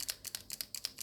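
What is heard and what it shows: An acrylic paint marker is shaken up and down to mix the paint, and its free-rolling mixing ball rattles with about eight sharp, bright clicks. The rattle is the desired sound, showing the ball is moving freely.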